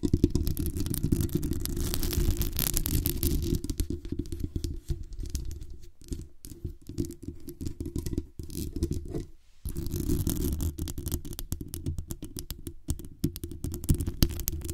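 Long acrylic nails scratch the hollow metal mesh grille of a black condenser microphone and tap its body. The result is a dense, rapid, low, boomy scratching with brief bright edges. It thins into quieter, sparser scrapes and taps in the middle, pauses briefly, then returns at full strength.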